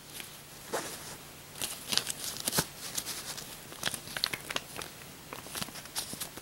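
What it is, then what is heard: Paper banknote stack. A bundle of US paper dollar bills is bent, riffled and crinkled with the fingers and long nails above separate bills lying on a bedspread. Bursts of bright, dry crackling and crinkling rise in irregular clusters over a quiet hiss, each snap dying away almost at once.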